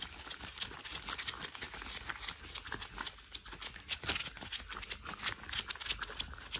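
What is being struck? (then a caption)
Thick rubber household gloves. Hands in thick cream rubber household gloves rub, squeeze and flap their fists and fingers together. The result is a steady run of bright, squeaky rubber rubbing punctuated by quick, dry slapping flaps.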